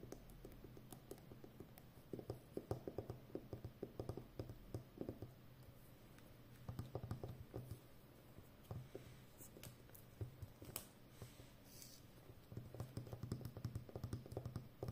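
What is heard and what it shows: Long nails tap and scratch the outer surface of a full, hollow roll of brown plastic packing tape on a cardboard core as the roll is handled. Quiet, rapid, dull taps come in dense clusters with short scratchy rustles, over a steady low hum. The bursts are separated by brief calmer stretches.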